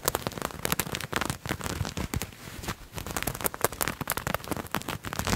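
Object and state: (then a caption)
Fabric garment being scratched. Fingernails scratch and rub a purple patterned fabric garment held in both hands. Dense, crackling scrapes come in rapid, uneven bursts that sound dry and bright, with no ring after each stroke.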